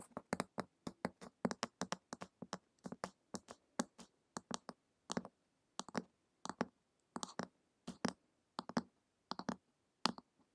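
Long acrylic nails tap fast on the glossy printed cover of a flat, solid hardcover book lying on a table. Short, dry clicks with a bright edge and a low body die away almost instantly. They come in a quick run at first, then in spaced clusters.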